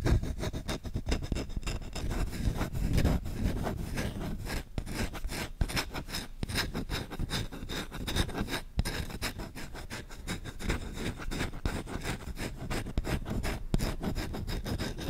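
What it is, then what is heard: Wooden spoon being scratched. Fingertips scratch quickly and firmly across the grain of a solid wooden spoon bowl held close to the mic. The result is a dense, continuous run of rapid, rough scratching strokes with a heavy low rumble and a thin, bright rasp on top.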